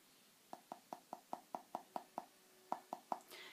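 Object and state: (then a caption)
Plaster cast not fully cured. A plaster print cast, after about 20 minutes of setting, is tapped twelve times with a fingernail, giving short, dull, low-mid clicks with almost no ring, followed by a brief soft rustle. The dull sound shows the cast is not fully cured, which takes several days, though it is sturdy and won't crumble or crack.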